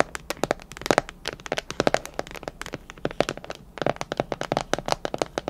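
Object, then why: Plastic food container with clip lid. Long nails tap rapidly on a clear plastic container with a clip lid, filled with colorful candy. The many quick, dry clicks and ticks are bright and sharp with no ring, coming in uneven bursts with some taps louder than others.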